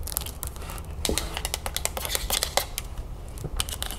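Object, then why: Plastic juice bottle with plastic cap. Long nails tap quickly on the ribbed plastic body of a full plastic lemonade jug, then on its green plastic cap while the bottle is tilted. The result is a rapid run of dry, bright clicks that die away almost at once, over a steady low hum.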